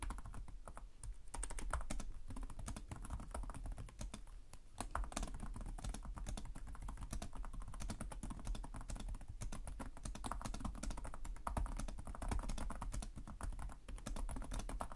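Fingertips from both hands type continuously on the plastic chiclet keys of a black laptop keyboard. The result is a dense, steady stream of quick, dry clicks and soft thumps with very short decay, dipping only briefly in loudness near the middle.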